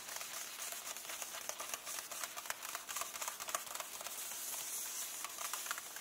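Fingertips and nails rub and tap the paper pages of an open hardcover book lying on the same illustrated spread. A soft, steady, bright scratching hiss carries quick, irregular light ticks and crackles throughout, with no low end.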